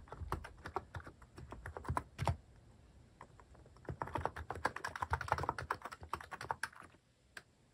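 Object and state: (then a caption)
Plastic mechanical keyboard. Fingertips type repeatedly on a cream plastic-case mechanical keyboard fitted with cat and paw-shaped plastic keycaps. Quick, clacky keystrokes with a low thump come in two busy bursts, separated by a quieter stretch of sparse taps. The typing trails off into near silence, broken by one last isolated key press.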